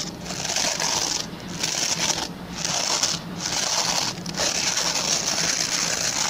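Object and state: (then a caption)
Plastic bristle brush being scratched. Fingertips and short nails scratch the plastic pin bristles of a hand-sized oval white plastic brush. The result is a steady, bright, crackly rasp that drops off in a few short pauses as the strokes change, over a faint low hum.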